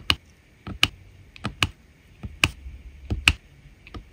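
A drill pen tip presses resin rhinestones down onto a diamond painting canvas densely covered with resin drills. It makes a series of small, sharp, bright clicks, each dying away almost instantly, with quiet pauses between them.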